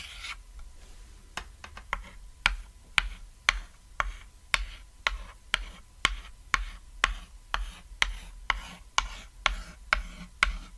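White chalk is scribbled and scratched across a small, flat, cat-silhouette chalkboard, a thin solid board lying on red fabric. About 20 sharp, bright taps and clicks come roughly twice a second at an uneven pace. Soft rubbing and rasping strokes fill the gaps between them.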